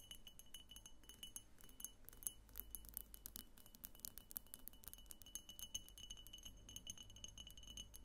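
A medium, hollow, egg-shaped vase of opaque pink glass on a clear glass base, a pink glass diffuser vase standing on a table, is tapped on its sides with long fingernails by both hands wrapped around it. Rapid, light, bright glassy clicks and clinks patter quickly and unevenly, each dying out almost at once, over a steady low hum.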